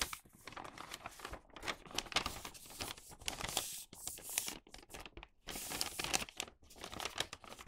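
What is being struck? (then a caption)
Folded newspaper paper bag. Fingertips rub along the creases of thin printed newspaper folded into a flattened, hollow paper bag body, folding the paper as they go. Bright, dry crinkling and rustling come in uneven bursts with brief quiet gaps, with little low end.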